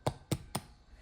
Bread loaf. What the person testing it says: that lets you know that bread is completely done all the way through